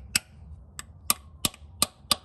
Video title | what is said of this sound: FJ Cruiser Automatic Transmission Replacement (Part 2 - Installation) | As soon as you hear a more solid sound, that means that you're making contact with this seal housing and you've driven it in flush.